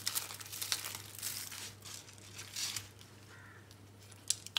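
A pile of crushed pink dry soap flakes on a green surface is pressed, rubbed and crushed with flat palms and fingers. The sound is a dry, bright crinkling and crunching with a steady faint low hum underneath. It ends in a few sharper, louder crunches.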